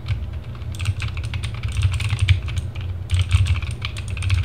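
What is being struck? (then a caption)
Plastic mechanical keyboard. Fingertips of both hands type fast across the plastic keycaps of a compact RGB mechanical keyboard, a TGT Sherman Mini. Quick, bright clacking keystrokes come in dense bursts, with a brief lull near the start and another around three seconds in. A steady low hum runs underneath throughout.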